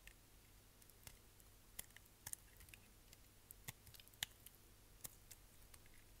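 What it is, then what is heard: Bar soap being shaved. A solid green striped bar of soap, held in the hand, is shaved with a utility knife blade as flakes fall away. The result is a quiet run of about 14 sharp, bright clicks and scrapes with almost no ring, scattered irregularly over a low steady hum.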